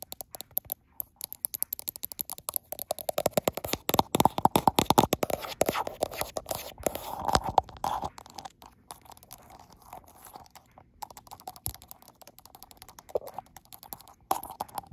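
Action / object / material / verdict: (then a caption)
tap / smartphone with a glass back / glass / none. Long acrylic nails tap rapidly on the frosted glass back of a gold iPhone, held in a mirror view, while the same phone records. The sound is a dense stream of short, dry, crunchy clicks that cut off almost instantly, with a mid-range tone. The tapping grows thickest and loudest in the middle stretch, then thins to lighter, scattered taps toward the end.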